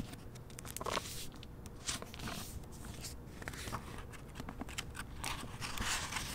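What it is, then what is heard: Hardcover book with plastic-covered jacket. A single hardcover novel in a glossy plastic library dust jacket, with a portrait on the back cover, is held and then opened, and its paper pages are fanned and turned with the fingers. Soft crinkles from the plastic cover mix with brushing, flicking paper rustles and bright crisp edges over a low background rumble.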